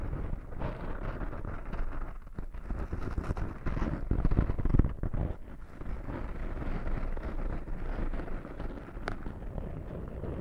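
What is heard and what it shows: A small black foam windscreen over a microphone is scratched and rubbed by fingertips with short nails. The result is a continuous, dense, low rumbling scratch with most of its energy in the bass. It swells louder around the middle of the clip, and a brief brighter tick comes near the end.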